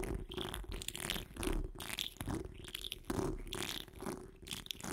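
Long acrylic nails on both hands scratch over a hollow wire-mesh microphone grille. The result is a continuous, uneven rasping and crackling, with a boomy low rumble, a hollow tone around 370 Hz and bright scratchy hiss that swells and fades in irregular strokes.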